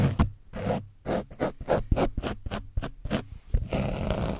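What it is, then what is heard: Foam microphone cover with dried paint, scratched. A foam brush scratches across the top of an orange foam microphone windscreen coated with dried paint. It makes a rapid series of rough, low, muffled scraping strokes that end in a longer, steadier rasping scrub.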